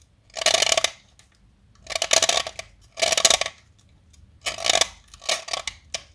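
A small, solid white blackboard chalk stick is held upright and shaved with a metal blade cutter, with chips falling away. Six separate bursts of dry, bright scraping and carving come in quick strokes, with a midrange tone under the gritty, high hiss. The sound stops cleanly between strokes with no ring.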